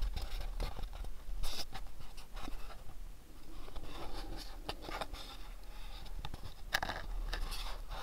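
Fingertips and nails rub and scratch a house-shaped cardboard gift box, and the box is turned to show its side. Soft, dry scratching and scraping strokes come in uneven bursts over a steady low hum, with a few brighter, sharper scratches standing out.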